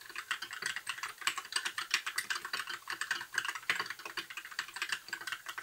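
A compact white 60% mechanical keyboard with plastic keycaps and RGB backlight is typed on with the fingertips of both hands in continuous key presses. The clicks are dense and clacky, with a bright, high-mid character and almost no low end, and each stroke dies away almost instantly.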